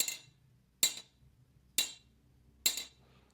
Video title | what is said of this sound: SEHARUSNYA LAKU KERAS‼️‼️ SALAH SATU YANG TERBAIK SESUAI CAMPAIGN PRODUKNYA‼️‼️ DAIDO CARNIVORE ‼️‼️ | kering banget, bisa dibilang kepadatannya luar biasa dari blank ini